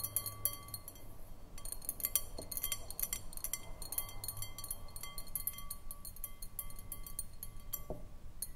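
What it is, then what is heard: Glass bowl. Long acrylic nails tap and scratch the outside of a round, clear, hollow glass bowl on a short foot, nearly empty with a little liquid at the bottom and standing on a wooden table. Many quick, bright, high clinks with short ringing come in loose, uneven bursts over a faint low hum.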